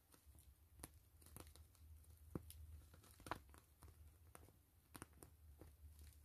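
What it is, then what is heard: PVC mesh zipper pouch. Long fingernails scratch and tap a soft, hollow, clear-gray grid-mesh PVC zipper pouch. The result is quiet, crinkly scratching broken by sharp, bright taps at an uneven pace, over a low background rumble.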